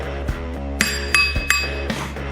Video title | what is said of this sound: Slitting Chisel | So the front of this should be, well, hear how it's ringing?